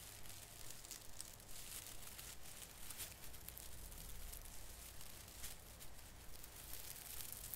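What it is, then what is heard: Plastic artificial Christmas tree branches being crinkled. Fingers grip and crinkle the drooping end of a branch on a small artificial fir Christmas tree with plastic needles. Quiet, steady crinkling and rustling runs throughout, with bright, crisp needle noise over a soft low rumble.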